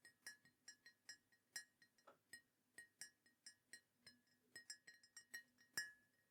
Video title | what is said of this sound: ASMR Mug Collection Tapping & Tingles ☕️ (Soft Spoken, British Accent, Ceramic Sounds) ✨ | it sounds great when you're tapping on it as well. It's got a really nice glaze on it, I assume, that just makes it sound lovely